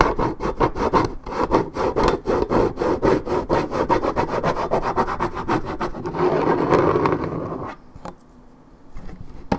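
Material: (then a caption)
Paperboard. Long nails scratch the top and side of a hollow, coated-paperboard Minute Maid orange juice carton held in hand. Quick, rhythmic scratching strokes, about four per second, give a dry, papery rasp centered near 1 kHz. Midway they blend into a steadier, continuous rub, then drop to near quiet with a few faint scrapes.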